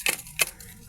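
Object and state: Ripe jackfruit.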